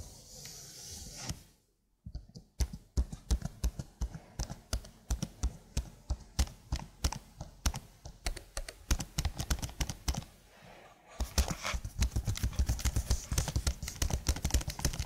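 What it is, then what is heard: Plastic computer keyboard. Long blue nails type on a slim, hollow black plastic computer keyboard with marble keys. After a soft hiss and a brief silence, dozens of short, dry, hollow clacks follow in a steady, uneven rhythm, heavy in the low end. After a short lull near the end, the typing speeds up into a dense, rapid flurry.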